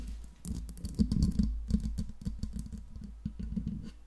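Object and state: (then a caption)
Metal microphone body tapped with nails. Long pink nails tap rapidly on the smooth cylindrical metal body of a silver Blue Yeti microphone, just below the grille. The taps come in a quick, uneven patter of short, clicky, keyboard-like hits with a low, dull body and almost no ring.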